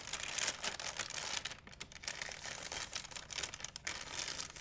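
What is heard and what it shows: A large, empty white plastic shopping bag is crumpled and stretched with hands and nails. It makes a dense, bright crinkling that stays mostly in the high range, with brief lulls partway through. The sound is continuous, with no separate hits standing apart.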